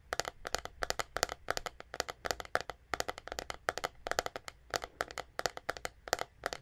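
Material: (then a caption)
Plastic. A white plastic paddle hairbrush with a hollow back is held in both hands and tapped and scratched with long nails near the microphone. It gives a quick, steady run of short, dry, bright clicks with a hollow mid-pitched tone and almost no ring, in uneven clusters across the clip.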